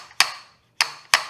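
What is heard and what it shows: A seal driver taps a 48 mm metal fork bushing into the outer tube of a KYB fork on a Yamaha YZ 250FX dirt bike. Three sharp, bright taps with short, tight decays sound solid, showing the bushing is fully seated as it should be.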